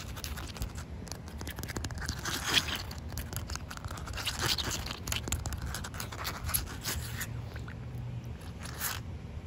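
Short white nails scratch and tap across a solid slab of wet outdoor concrete pavement. The sound is a steady, gritty scraping with bright, crisp taps and a few louder strokes over a low rumbling background.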